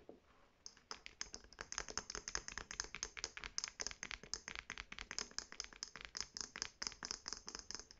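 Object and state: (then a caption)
Faux leather handbag tapped with nails. Long painted nails tap quickly on the black-and-white striped fabric flap and gold metal clasp of a hollow navy faux leather shoulder bag. After a brief quiet start, a rapid, steady stream of crisp, bright, dry clicks follows, each dying away almost instantly with little low end.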